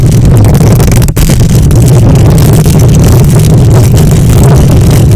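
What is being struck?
Metal mesh microphone grille.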